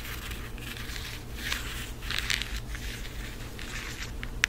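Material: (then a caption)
Cardboard. A floral cardboard eyeshadow palette, held up in both hands, is rapidly tapped with long acrylic nails. The result is a dense run of dry, crinkly clicks and scratchy taps over a low steady hum, with a brighter, sharper tap near the end.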